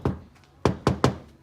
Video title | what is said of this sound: $200 98 FORD RANGER DIY SNORKEL BUILD!!! (Also fender's cut and new tail lights) | these are rusty underneath here you can really hear it when you knock it